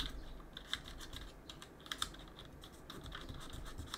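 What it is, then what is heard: Mechanical keyboard with plastic keycaps. Gloved fingers clean around the plastic keycaps of a backlit mechanical keyboard with a cotton swab and press the keys. The result is a steady run of short, bright clicks and soft taps over a low background hum, with a few louder clicks standing out.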